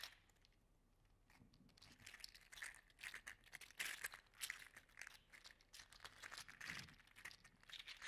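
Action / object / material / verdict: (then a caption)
shake / 3D printed plastic articulated toy / plastic / none. An orange and gold segmented 3D printed PLA articulated slug toy is held in the fingertips, dangled and flexed so its joints click. After a quiet start, dense bursts of small, bright, dry clicks and crinkly crackles come in irregular clusters, each click dying away almost instantly.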